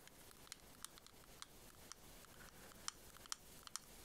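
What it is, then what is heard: Plastic shell-shaped case tapped with nails. Long nails tap and scratch along the ridges of a small, hollow, closed white plastic pearl case shaped like a scallop shell, held in the hands. Sharp, bright clicks come at an irregular pace over a soft, continuous scratchy hiss, each click dying away almost instantly.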